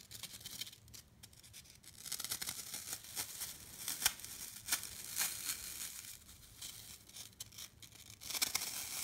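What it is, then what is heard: Dry floral foam block being scratched. A fingertip with a long nail pokes and scratches the side face of a solid, rectangular block of dry green floral foam held in the hand, leaving dents. The sound is a bright, dry, crisp crunching and scraping made of quick irregular bursts with almost no low end. It has a few sharper crackles along the way and a louder, denser scratch near the end.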